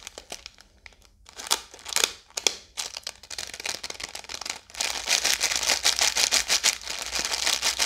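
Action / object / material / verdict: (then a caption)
scrape / biscuit roll in thin plastic film / plastic film / none. A full roll of Oreo biscuits in a blue plastic wrapper is held in one hand while long yellow nails tap, scratch and squeeze the film. Sparse crinkles and taps give way after about five seconds to steady, dense, bright plastic crackling.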